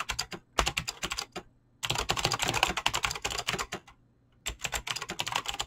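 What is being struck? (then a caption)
Mechanical keyboard with plastic keycaps. Fingertips with short painted nails type fast on a full-size mechanical keyboard with Razer green clicky switches and pink-blue PBT plastic keycaps on a desk. Rapid, bright, clicky keystrokes come in three bursts separated by brief pauses, each click sharp and short with little ring.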